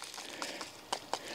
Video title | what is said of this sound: Start the Ram Pump 2022 [ It's a Mess ] | you can often times tap on the pipe and hear the difference between full and not full